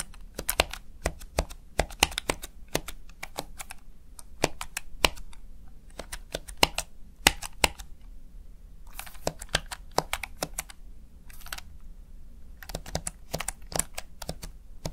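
Fingertips repeatedly tap and press the keys of a small backlit plastic Razer Tartarus Chroma gaming keypad, seen from the side. Sharp, short, bright clicks come in irregular bursts and quick runs, with each tap dying away almost instantly. A faint, steady low background sits underneath.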